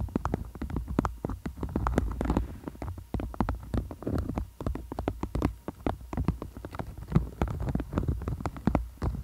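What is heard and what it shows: A beeswax-coated cotton food wrap is folded over a microphone and tapped and scratched with long acrylic nails. Many quick, dull taps and crinkly scratches come in a steady flurry over a deep, muffled rumble, each tap dying away almost at once.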